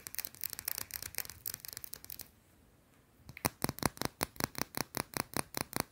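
A small, round, flat, solid white soap bar held in one hand is scratched fast with long blue-painted nails, making quick, bright, scraping strokes. A busy run of rapid scratches fades into a brief near-silent pause around the middle, then a steady series of louder, sharper scratches follows.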